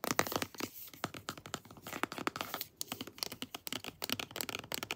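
A pink plastic lotion tube, held in both hands, has its crimped end and body scratched and tapped with long nails. The result is a rapid, uneven string of short, dry clicks and crinkly scratches, bright and crisp with very little low end and almost no ring after each tap.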